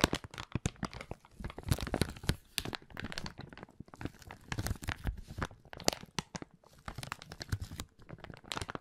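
A small, thin, empty, transparent plastic zip-lock bag is scrunched and rubbed between the fingers close to the recorder. Dense, irregular crinkles and crackles burst out continuously, with sharp snapping peaks over a soft rustle. The sound has a full low body alongside bright, crisp edges.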